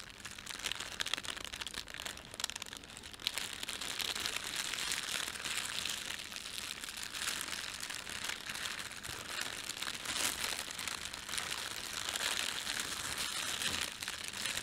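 A thin, red printed plastic bread bag is rubbed and scrunched between fingertips, giving a steady, dense, bright crinkle. The crackle runs continuously for the whole clip with no long pauses, and each rustle stops dry with no ring.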